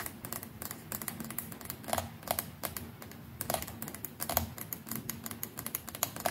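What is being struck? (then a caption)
Plastic electric toothbrush neck. Long nails quickly tap the hollow plastic neck of a white plastic electric toothbrush, just below the round bristle head. The result is a rapid, uneven run of light, dry clicks with bright edges and a faint steady low tone underneath. Each tap dies away almost at once.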